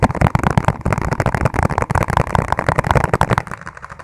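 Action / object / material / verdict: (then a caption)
tap / plastic food container / plastic / none. A clear, ribbed plastic food container is held upside down, hollow and empty, while fingertips tap fast on its base. A dense stream of quick, hollow, low thudding taps sounds with a mid-low tone and almost no ring. The tapping grows softer in the last half-second.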